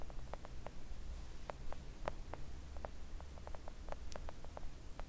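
Long acrylic nail tips tap gently on a flat pink silicone nail art mat lying on a table. The sound is a quiet, irregular run of short, dry, soft clicks with a muted mid-range tone. A steady low rumble sits beneath them.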